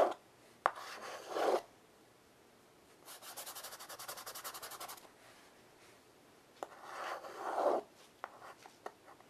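A child draws with white chalk held in her fingertips on a flat black chalkboard in a wooden frame. Longer, rising scratchy rubs alternate with a quieter stretch of rapid, evenly spaced short strokes in the middle. Sharp little taps are scattered through the clip, and the overall sound is dry, mid-pitched and brushy with almost no low end.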